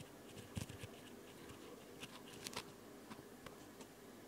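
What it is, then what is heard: Foam nail buffer block. Long, light-colored nails scratch and tap a solid white rectangular foam nail buffer block held in one hand near the recorder. Soft, dry scratches and short, muffled taps with bright, crisp edges sound at irregular intervals over the steady low hum of a dishwasher in the background.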